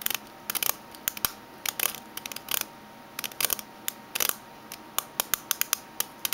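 Fingernails tap and scratch the metal base of a small oval aluminium Minteas mint tin lying upside down, with a barcode label on its bottom. The result is quick bursts and irregular clusters of bright, dry clicks and scratchy ticks with almost no ring, set against a quiet, steady background hiss.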